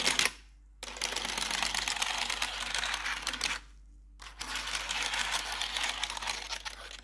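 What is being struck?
Plastic computer keyboard.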